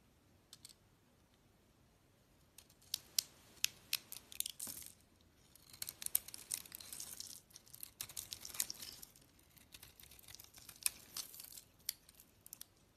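A utility-knife blade carves the outer layer off a hand-sized, solid glossy pink soap bar with a purple pattern and a cream core. The cuts make quiet, crisp scraping and shaving sounds in irregular bursts, with sharp clicks and crackles. The sound is high and bright, with almost no low end.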